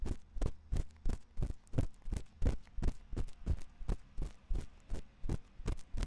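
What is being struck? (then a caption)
Silicone ear of a binaural microphone, scratched with a thin metal pick. A thin metal ear pick scrapes inside the ear canal of a white silicone ear on a 3Dio binaural microphone. It makes deep, muffled thumping scratches that repeat about three times a second in an uneven rhythm. Each stroke is short and dull, with almost no high or bright content.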